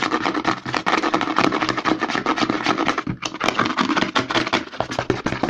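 Fingertips and nails rapidly scratch and tap the side and label of a white plastic CeraVe lotion pump bottle held upside down. A dense, fast run of dry, bright scratches and crisp taps plays continuously, with a brief dip just after the three-second mark.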